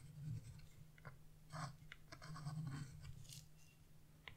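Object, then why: Wax-coated scratch-art paper. A narrow dark tool tip scratches along thin lines on black wax-coated scratch-art paper lying on a table. Short, dry scraping strokes with brief bright edges come and go over a quiet, steady low hum.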